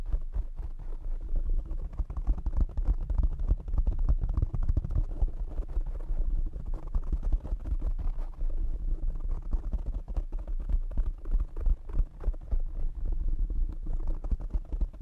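Fingertips tap quickly on the foam sides of a black foam windscreen fitted over a condenser microphone. The result is a dense, continuous stream of soft, boomy thumps, almost all deep bass with very little brightness, each one dying away almost at once.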